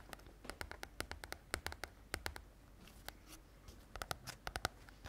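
A small, solid paperback book with a glossy red and white cover is held in both hands close to the microphone and tapped and scratched on the cover with long nails. Quick, sharp clicking taps come in uneven bursts with bright, crisp edges and almost no ring. Softer, hissy scratching strokes fill the gaps between the taps.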